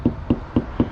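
Four dull, short taps on the rear wall panel of a motorhome, each a low thud centered around 250 Hz that dies away almost at once. The spot is being checked for a substantial place to drill the holes for a bike rack, and it sounds solid.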